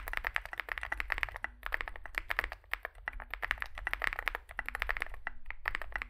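Fingertips type continuously on a small Zoom65 65% mechanical keyboard with a dark case and white and grey SA plastic keycaps. It makes a rapid stream of short, bright clacks centered around 2 kHz over a low steady hum, with brief pauses between bursts of typing.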